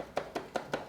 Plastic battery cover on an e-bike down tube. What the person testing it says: the one at the bottom is missing and that's why it's rattling